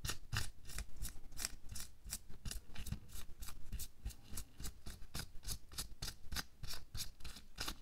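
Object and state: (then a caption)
Latex glove being rubbed and scratched. A thin pink latex or nitrile glove is worn on a hand lying flat while bare fingers pinch, rub and scratch the glove at the wrist and back of the hand. The result is a rapid, steady series of short, crisp, bright scratchy rustles over a soft low rumble, each stroke dying away almost at once.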